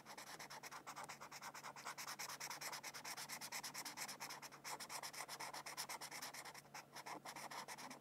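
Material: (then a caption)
Paper. A felt-tip marker, held by a hand with long purple nails, colors a thin printed mandala sheet of white paper resting on a textbook. It makes rapid, slightly uneven back-and-forth scratching strokes with a dry, bright, papery rasp. The strokes run continuously at a steady low level with almost no low end.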